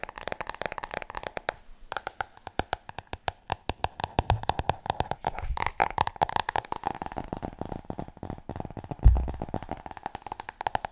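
Long nails tap and scratch fast across the cover of a large, solid, glossy hardcover book, sometimes held close to the microphone. The result is a rapid, steady stream of dry, short-ringing clicks and scrapes over a soft low body, with one heavier thump near the nine-second mark.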